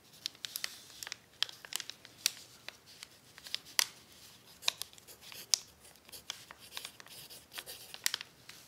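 The graphite tip of an orange pencil writes continuously across a flattened sheet of crumpled, crinkled brown kraft paper, while the other hand rests on an open book, writing out cookie recipes. The result is a steady, bright scratching and crinkling with many sharp, dry ticks and no low end.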